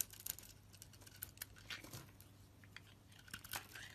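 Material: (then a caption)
Soap. A blade shaves thin curls and chips off a solid rectangular bar of purple-coated pink soap held in the hand. The result is a series of quiet, dry, bright scraping and crinkling strokes with sharp clicks, repeating over a faint low hum.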